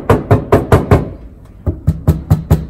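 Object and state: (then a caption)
Damped vehicle floor panel, solid. Ten dull, low knocks in two groups of five land on the aluminium floor and battery hatch panel area of a Land Rover Defender fitted with doubled-up sound deadening mat patches. Each thud is short and damped, with almost no ring. The panel sounds much more solid because its resonance has been damped.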